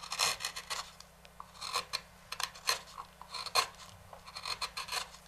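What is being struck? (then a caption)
Walnut wooden bowl. A wooden-handled carving knife scrapes and rasps along the rim edge of a large, hollow, empty walnut bowl resting on a stopped lathe. Short, dry, bright scraping strokes come in uneven bursts with a faint high tonal edge, separated by brief quiet gaps.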